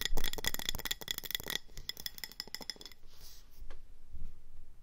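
Long nails tap quickly on a speckled grey ceramic planter with an orange rim, filled with soil, pebbles and a succulent, as it is held and then set on the table. A rapid run of bright, ringing clinks softens into lighter taps, then gives way to quiet scratching and rubbing against its textured grey body.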